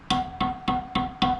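A steel dirt bike wheel spoke is tapped five times with a wrench, each tap giving a short, bright, ringing ding with a steady pitch around 750 Hz. The clear ring shows the spoke is tight and at correct tension, which is how every spoke should sound.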